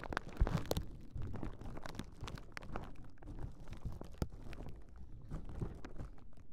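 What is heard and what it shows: Long nails scratch and press the bubbles of a large clear plastic bubble wrap sheet held across a pair of Rode NT5 microphones. The result is a steady, low, muffled crinkling and rubbing, broken by sharp clicks and small pops throughout.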